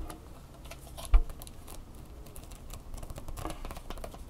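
Long fingernails tap and scratch the hollow plastic head and bumpy bendable legs of a small red Angry Birds plastic phone tripod. Rapid light clicky taps and scratches run throughout, with one louder knock near the start, each tap dying away almost instantly over a low background rumble.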